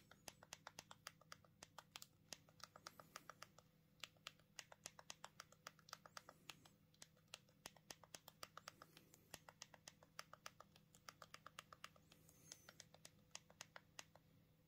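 A thumb rapidly taps the plastic keypad buttons of a small black Punkt mobile phone held in one hand, producing a quick, uneven stream of about 83 crisp, bright clicks. Each click is sharp and dies away almost instantly, over a faint, steady low hum.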